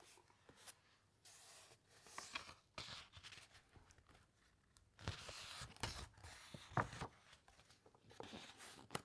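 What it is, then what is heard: Thick paper book pages being rubbed and turned. Long nails and fingertips rub across the thick, uncoated paper pages of a large open hardcover encyclopedia and turn them. The result is soft, airy rustles and brushing swishes broken by sharper crinkles and papery snaps as the pages flip. The sound is quiet and close, with a bright, hissy texture.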